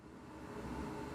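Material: Nothing is struck.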